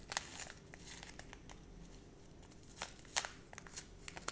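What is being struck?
Small plastic foil zip pouch.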